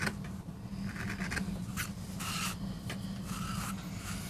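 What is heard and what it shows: A wooden-handled gouge held in a gloved hand digs and scrapes into a small, flat, solid MDF relief block carved with a rose design. Short rasping scrapes with bright, gritty bursts sit over a steady low hum.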